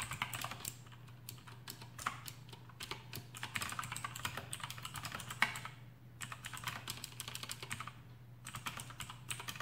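Fingertips of both hands type rapidly on a full-size black plastic AUKEY KM-G6 mechanical keyboard with RGB backlight and Outemu blue switches fitted with rubber O-rings, resting on a desk mat. Fast bursts of short, bright clicky keystrokes are broken by brief pauses near six and eight seconds, over a steady low hum.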